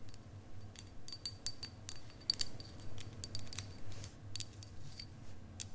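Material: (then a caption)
Quartz. A long, solid clear quartz crystal point wand, held upright and then horizontally, is tapped with long acrylic nails. The quick, irregular clicks are bright and sharp, each with a faint high glassy ping that dies away almost at once, over a steady low hum.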